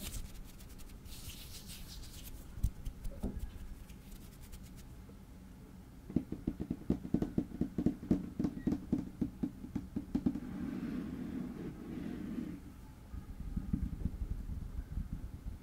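Fingertips with short nails tap and scratch a large, flat, light wood-grain tabletop, a solid slab that may be wood laminate. Soft rubbing and scratching fill the start. Then a dense run of quick, dry, low taps dies away almost at once, broken by a short stretch of steady scratching before the tapping picks up again.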